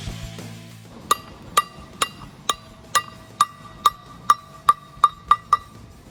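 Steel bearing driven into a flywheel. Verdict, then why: Seated. A new steel flywheel bearing on a truck is tapped into the flywheel through a socket resting on its outer race, giving twelve sharp, ringing metallic taps centred near 1.2 kHz that come quicker toward the end. The tapping sound changes once the bearing is fully seated, and it still turns smoothly afterward.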